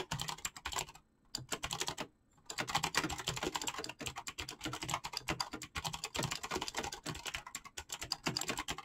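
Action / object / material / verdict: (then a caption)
tap / mechanical keyboard with plastic keycaps / plastic / none. Fingertips with painted nails type fast on a full-size backlit mechanical keyboard with clicky green switches and hollow pink-blue PBT plastic keycaps. A dense, bright stream of sharp, short clicks and clacks runs throughout, broken by two brief pauses near the first and second seconds.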